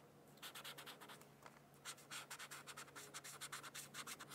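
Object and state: Pen coloring on a paper sheet.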